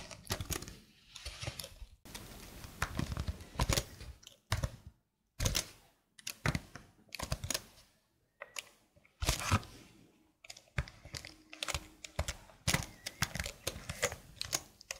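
Fingertips with long blue nails type on a slim black plastic keyboard held flat below the mic. Quick, dry plastic clicks and taps come in irregular bursts with short silent pauses between runs, each tap dying away almost at once.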